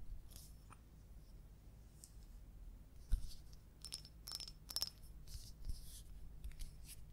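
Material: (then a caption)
Ceramic. Long coral acrylic nails tap and scratch all around the outside and rim of a small, round, hollow, empty orange glazed ceramic bowl or pot with a white inside. The result is quiet, crisp, very short clicks and bright scratchy strokes that die away almost instantly, over a steady low hum.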